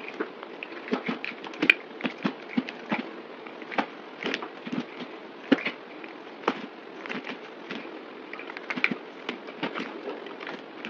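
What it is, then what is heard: Bar soap being shaved. A yellow utility knife shaves and scrapes curls off a solid oval white soap bar with a printed logo, held in the hand. A steady dry scraping hiss carries a rapid run of sharp, bright crackles and clicks that die away almost instantly, with very little low end.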